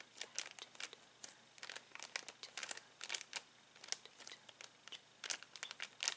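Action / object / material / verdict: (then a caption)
scrape / plastic bag of balloons / plastic / none. Fingertips scratch the header card of a clear plastic bag full of uninflated latex balloons, then press and crinkle the bag. The result is a quiet, rapid series of short, bright, crisp crinkles and scratches with almost no low end and no ring after each one.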